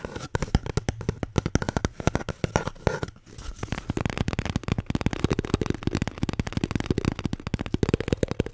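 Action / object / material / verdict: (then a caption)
tap / paper toilet roll / paper / none. A paper toilet roll is tapped and scratched in a rapid, steady stream of short, dull knocks and rough scraping, with a brief lull around the three-second mark. The sound is low and hollow, each tap dying away almost instantly, with little bright content.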